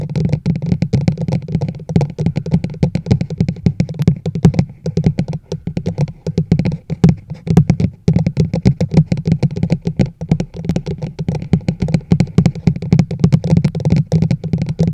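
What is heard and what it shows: The sides of a large, hollow teal plastic chug mug held over a microphone are tapped quickly with long nails. The result is a dense, steady stream of short, hollow clicks, each with a low resonant boom and very little ring.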